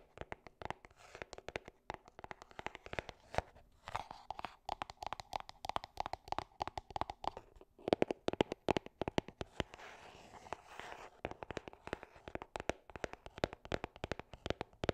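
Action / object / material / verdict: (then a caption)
tap / small cardboard box / cardboard / none. Long dark nails tap rapidly and steadily on a small, hollow gold cardboard gift box held close to the mic. The taps are dense, crisp clicks with a short, hollow midrange knock around 360 Hz that dies away almost instantly. They come in quick flurries at a quiet level, with a soft rustle between them.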